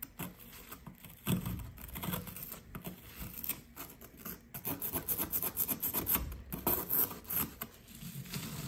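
A small blue plastic chisel, held in fingers with red nails, scrapes at a fist-sized, solid blue compressed sand or plaster gem-shaped dig brick resting on a brown paper towel. A steady run of gritty, rasping scratches and scrapes comes with dull low bumps and a bright, crumbly hiss as loose sand falls away.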